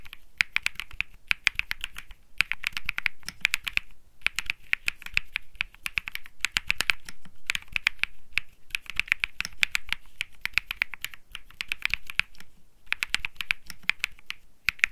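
Fingertips type continuously on a cream Think 6.5 mechanical keyboard with Bsun Lollipop switches and plastic keycaps. The result is a rapid stream of short, crisp clacks with a bright mid-high tone and almost no ring, falling into bursts separated by brief pauses.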